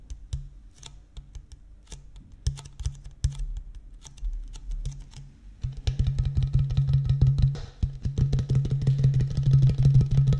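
An empty, medium-size clear plastic (PET) water bottle with a blue cap is held horizontally near the microphone and tapped with the fingertips. Scattered soft, hollow low thuds for the first half give way to faster, louder, continuous drumming-like tapping until the end.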